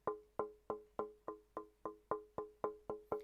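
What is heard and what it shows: A wooden violin back plate, a tonewood plate held at its node, is tapped in the middle 12 times in a steady rhythm. Each tap gives a short, clear tap-tone note centred around 426 Hz that fades quickly. Because it is held at the node, the plate rings with a clear note.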